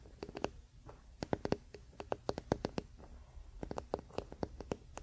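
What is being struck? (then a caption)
Wooden paddle hairbrush back. A large, flat wooden paddle hairbrush lies bristles-down on a fluffy blanket while the fingertips and short nails of both hands scratch and tap its solid wooden back and handle. About two dozen quick, dry taps ring out in an irregular rhythm, each with a hollow woody knock near 420 Hz that dies away almost instantly. Soft scratching fills the quiet gaps between them.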